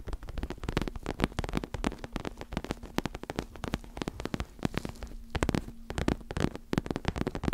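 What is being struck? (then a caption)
Fabric-covered neck pillow with soft filling. Long acrylic nails scratch and rub a white and pink fabric-covered neck pillow with soft filling. It makes a rapid, dense stream of short, dry scratching strokes that sound dull and muffled, with a faint steady hum around 200 Hz underneath.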